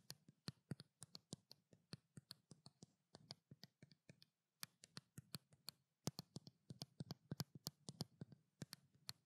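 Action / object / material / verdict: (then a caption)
tap / small plastic bottle with paper label / plastic / none. Long black nails tap and scratch the paper label of a small white plastic skincare bottle. The result is a quiet, rapid series of short, dry clicks, each with a soft low thump and a bright tick, mixed with faint scratching. A brief pause falls near the middle of the clip.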